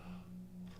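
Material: Nothing is struck.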